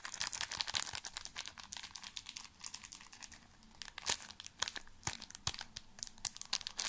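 A small, full pocket tissue pack wrapped in thin plastic film is crinkled with the fingertips toward the camera. The result is a dense run of bright, crackly rustling with sharp, brief snaps scattered throughout and very little low end.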